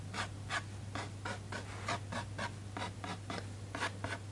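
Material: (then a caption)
Paper. A fingertip traces and rubs over the illustration on a glossy printed paper page of a large hardcover children's book lying open on a desk, while the other hand rests flat on the page. A steady series of about fourteen short, soft papery swishes sounds over a constant low hum.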